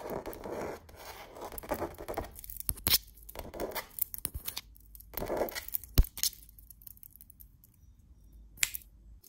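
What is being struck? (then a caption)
Painted canvas print. Fingernails and fingertips rub and scratch across the surface of a painted autumn landscape canvas wall art piece. The clip has soft, grainy swishing strokes with pauses between them, punctuated by a few sharp, bright clicks as the nails catch the canvas.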